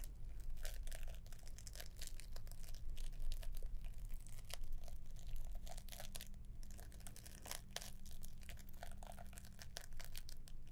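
Long nails scratch across the green wrapping paper and ribbon of a gift box with a gold bow, held up in the air. The result is a quiet, steady series of dry crinkles and scratchy rustles over a low, constant hum.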